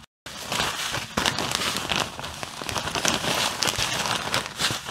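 Fingers with long blue-painted nails squeeze and crinkle a clear plastic bag full of white artificial snow. After a brief silent gap at the start, a dense, continuous, bright crackling and rustling fills the rest of the clip, rising and falling with each squeeze.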